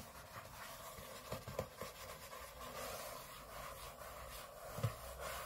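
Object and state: Aluminium laptop lid.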